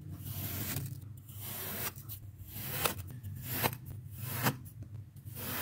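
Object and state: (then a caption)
Kinetic sand being cut. A metal tube is pressed down repeatedly into pink kinetic sand packed flat in an oval red plastic tray, punching round holes until the surface crumbles. Soft, gritty rubbing and scraping swells in bursts over a low rumble, with brief bright, crisp crackles as the sand is pressed and cut.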